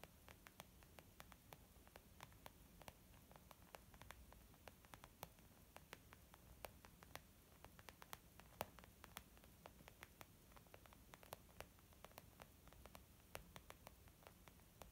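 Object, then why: Leather zip makeup bag. Long painted nails and the fingertips of both hands tap on a flat, hollow, white textured leather zip makeup bag. Dozens of quick, soft clicking taps come in an irregular stream, each one short and dry with no ring. They sit quietly over a steady low hiss and hum.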